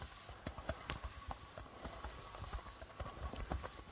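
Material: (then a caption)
Plastic. Fingertips of both hands tap the white plastic membrane of a hollow, reddish-bodied darbuka drum. The result is a quick, uneven patter of soft, low thumps mixed with brighter clicks, each tap dying away almost at once.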